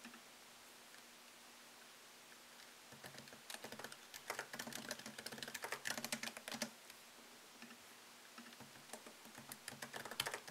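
Fingertips type on a MacBook Pro keyboard, its low-profile plastic keys set in a thin solid aluminum chassis. After about three seconds of near silence with a faint low hum, quick, bright, clicky taps come in irregular bursts. They pause briefly around the eight-second mark, then resume, each click dying away almost instantly.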